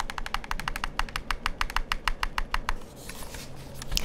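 Fingertips and nails tap and click on the buttons and hollow shell of a black plastic PlayStation-style gamepad held close, giving a quick, fairly steady run of sharp, bright plastic clicks over a low background hum. After about 2.7 seconds the clicking stops and gives way to a softer, hissy rubbing, ending in a brief bright sliding sound.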